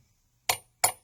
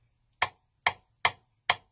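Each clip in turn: First: hollow metal knife handle. Second: solid (filled) knife handle.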